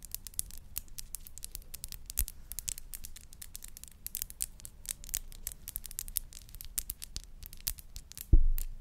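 Long nails tap and scratch a small glass perfume bottle with a pink rose cap, making a rapid run of light, crisp clicks and scrapes over a low, steady rumble. Near the end comes a single louder knock that rings briefly before fading.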